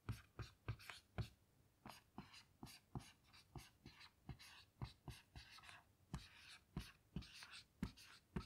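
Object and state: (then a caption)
Marker writing on a small whiteboard. A black dry-erase marker writes letters on a small, flat dry-erase whiteboard with a smooth white surface and a light plastic frame, lying on a table. The marker glides and scratches across the board, with bursts of squeaky stroke noise broken by short, dull taps and thumps as it meets the surface. Each stroke stops quickly with almost no ring.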